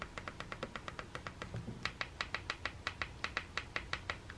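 A thumb repeatedly taps and presses the green rubbery button panel on the white plastic handle of a Sonicare electric toothbrush. Twenty-seven short, dry clicks come in a steady, quick rhythm, each bright with a crisp high edge and almost no ring.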